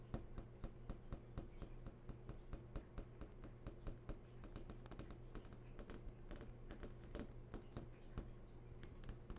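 Long fingernails tap rapidly and repeatedly on the hard screen of a large, switched-on flat-screen TV, making quick, sharp clicks with bright tips that die away almost instantly. A steady low hum runs underneath the whole time.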